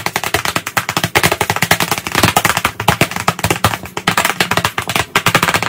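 Both hands tap chalk rapidly on the flat surface of a large black chalkboard in a wooden frame. About 45 quick, sharp clicks land in under six seconds in a dense, uneven rattle. Each tap is bright and dies away almost at once.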